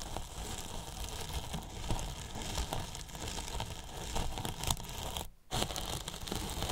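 Two thin paintbrushes scratch and brush near the top edge of a large, hollow white polyethylene foam box with a microphone inside. The result is a steady, crackly rustle with a heavy, boomy low end and bright scratchy texture on top. A brief near-silent gap falls just past five seconds before the brushing resumes.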